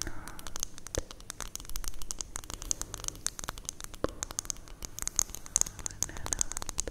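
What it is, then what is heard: Glass hourglass tapped with nails. A small, hollow glass hourglass, partly filled with yellow-green sand and held horizontally in both hands, is tapped rapidly by long painted nails. The result is a dense patter of quick, bright clinks that die away almost instantly, over a faint shifting hiss that may be the sand moving inside.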